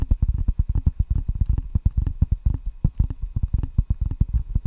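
Fingertips tap quickly on the red rubber side of a solid wooden ping pong paddle held in both hands close to the mic. The result is a rapid, uneven run of dull, low, muffled thuds that stop almost instantly, with nearly no bright edge.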